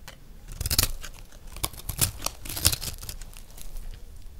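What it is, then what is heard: Dry soap being scraped. A round, solid, peach-colored dry recycled soap disc is held in one hand and scraped with a metal knife blade, peeling off curled shavings. Short, dry, crisp rasping strokes repeat with bright crackly edges over a soft low rumble, each stroke stopping abruptly with no ring.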